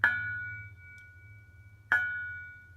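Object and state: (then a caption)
Ringing steel exhaust resonator chamber. The steel Helmholtz sound chamber on a Miata's Goodwin Racing exhaust is tapped twice, each tap ringing like a bell with a clear tone around 1.5 kHz that fades over a few tenths of a second. Unlike the muffler, the chamber rings, making it the likely cause of the metallic rasp heard under heavy acceleration.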